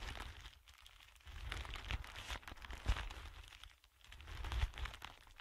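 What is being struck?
Thin clear plastic film.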